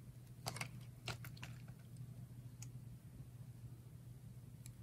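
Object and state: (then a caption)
Dry soap bar being carved. A utility knife blade slices and scrapes along the ridged face of a solid bar of red and yellow layered dry soap, peeling off thin slices. Quiet, dry, crisp scraping clicks sound in short bursts, bright and brief, over a steady low hum.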